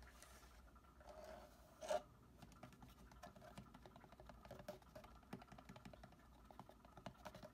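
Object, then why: Plastic watering can. A green, hollow, medium-sized plastic watering can, with plant leaves nearby, has its handle and body tapped and scratched with fingertips and short nails. Soft, dry scratching and rapid light ticks run throughout, with one louder hollow tap near the two-second mark. The sound is quiet and mostly mid-pitched, with little low or high content.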